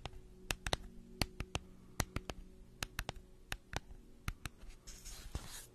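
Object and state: Cardboard gift tube.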